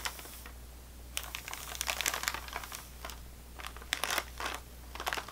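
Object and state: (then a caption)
Sleeve of crackers in plastic wrap, full. A full sleeve of saltine crackers in thin wax/plastic wrap, lying on a table, is tapped along the top with long fingernails. The result is quick, bright crinkly clicks in irregular bursts over a steady low hum.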